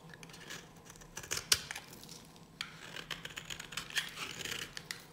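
A solid, pale pink bar of dry soap held in the hand is scraped and cut with a metal blade. The result is a quiet, bright, crisp scratching with many short, dry rasps and a sharper snap partway through, without much low end.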